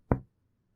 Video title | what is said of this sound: IBC II SEMIOLOGIA RESPIRATORIA | Siempre sobre los espacios intercostales vamos a escuchar sonoridad